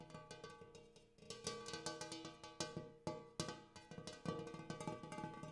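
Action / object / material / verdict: tap / hammered brass bowl / brass / none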